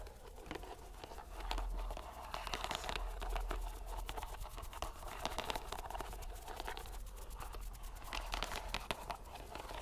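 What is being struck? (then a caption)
Rubber stress ball in a net mesh. A green rubber stress ball inside a white mesh net is squeezed and released by hand over and over. It makes dense, crackly, squelching crinkles and quick bright clicks that swell and ease with each squeeze, over a steady low rumble.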